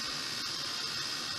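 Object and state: Nothing is struck.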